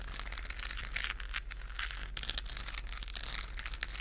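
Long acrylic nails scratch the textured surface of a hollow, lit plastic galaxy moon lamp in front of the mic. The result is a continuous crinkly, crackling scratch with bright, dense bursts and a steady low hum underneath.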